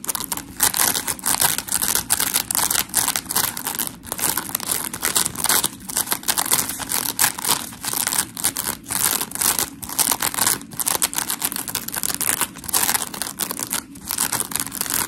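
Long acrylic nails scratch and squish the gritty face of a dry, solid, hand-sized smiley-face scrub sponge made of porous polymer foam, white on one side with a blue rim. A steady stream of bright, crinkly scratching fills the clip, with quick strokes rising and falling in dense, rough bursts and very little low end.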